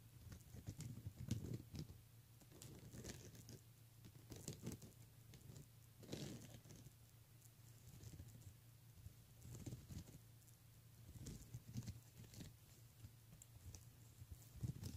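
Fingernails on a ringed hand scratch and tap across the bead rows of a pink plastic beaded handbag. The result is quiet, scattered clicking and rattling with short, bright ticks over a steady low hum.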